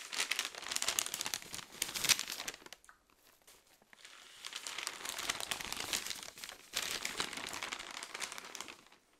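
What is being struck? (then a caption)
Newsprint newspaper. A large open newsprint newspaper is held in both hands while its pages are flipped and crinkled. Bright, papery crinkling and rustling comes in three dense bursts separated by brief quieter gaps, with almost no low end.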